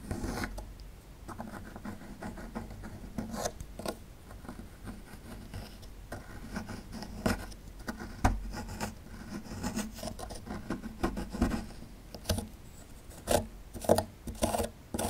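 A small metal chisel tool scrapes and gouges a small solid plaster fossil excavation block, making a steady dry rasping and rubbing texture. Sharper gritty clicks and picks cut through the scraping, louder toward the end. The sound is dull and low-weighted, with no ring after each stroke.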